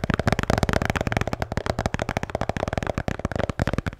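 A blue Bintang beer can holder is tapped and scratched in a rapid, continuous flurry of short, dry strokes. The sound is heavy in the low end, with muffled thuds and a scratchy texture that dies away almost instantly after each touch.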